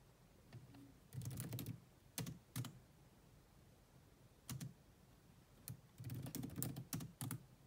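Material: Plastic.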